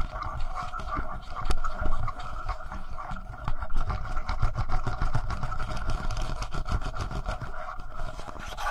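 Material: Plastic.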